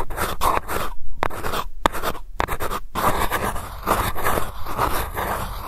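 Long nails scratch the surface and rim of a silver metal lid on a small glass candle jar, giving a dense, gritty scraping with brief scratchy bursts and short pauses between strokes. The sound stays close and dry, with a faint tonal edge near 930 Hz.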